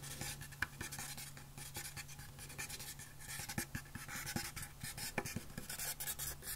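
Long fingernails and fingertips scratch and rub along the surface of a long, hollow carved wooden box with flower inlays, very close up. The result is a quiet, dry scratching texture with bright hiss and scattered quick ticks over a steady low hum.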